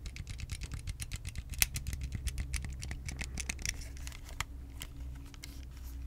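Fingertips tap and scratch along the body of a white, hard plastic Wii game controller, a small hollow handheld with electronics inside, held in both hands over the mic. A quick run of dry, clicky taps with bright edges fades into softer scratching, all over a steady low hum.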